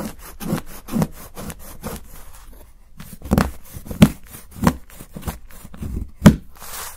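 A steel knife blade scrapes along the edge of a solid milk chocolate bar steadied by fingers, shaving it into fine curls. The result is a series of soft, dry scraping strokes with a low body and short, quick decay, with the sharpest accents in the second half.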